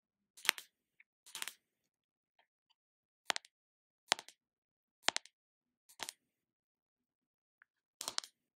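Long acrylic nails tap and scratch the screw lid of a small round plastic jar of Body Shop shea body butter held in the hands. Seven short, bright clusters of clicky taps with quick scratchy edges sound against near silence, with a few faint ticks in between. Each burst dies away almost instantly, with no low end or ring.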